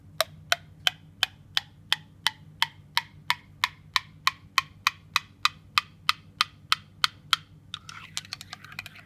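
A metal spoon taps inside a ceramic mug of hot coffee just after sugar was stirred in, a strange acoustic effect where the tapping pitch changes and that does not occur with cold drinks or a glass. About two dozen short, bright, evenly spaced clinks ring briefly around a mid-high tone. They end in a quicker, denser flurry of lighter taps.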